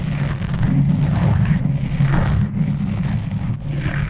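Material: Foam.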